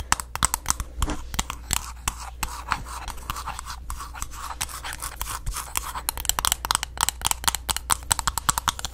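A green glass candle jar with its wooden lid on, held close to the mic, is scratched and tapped with long nails on both the glass and the lid. Dense, crisp clicking taps and rasping scratches come in quick irregular bursts over a low steady hum, with the taps getting sharper and more frequent toward the end.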